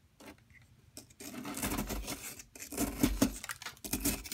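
A solid yellow plaster excavation block, tilted up in a hand held with long nails, is gouged with a metal pick tool, leaving a dug-out hole. Dry, gritty scratching and scraping come in bursts with brief pauses, growing louder toward the end.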